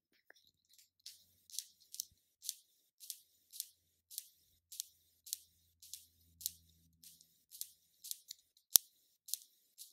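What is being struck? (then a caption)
Small round plastic cosmetic jar lid. Long nails tap the lid of a small, round, black plastic NYX concealer jar. About fifteen short, bright, clicky taps fall in a steady rhythm, each one crisp and high-pitched and dying away almost instantly.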